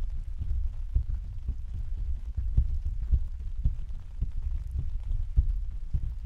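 Several hands tap and pat with their fingertips on the thin, hollow canopy of an open translucent white plastic/vinyl umbrella on a stand. The result is a steady patter of soft, deep, muffled thumps, with low drum-like resonance and almost no bright content. Each pat dies away almost immediately.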